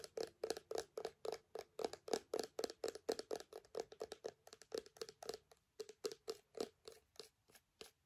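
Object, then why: Small plastic gel bottle. Long nails tap and scratch a small clear plastic hand sanitizer bottle with a white flip cap, partly filled with gel. About forty quick, uneven, hollow plastic taps with a mid-pitched knock come at roughly four per second, each dying away almost at once.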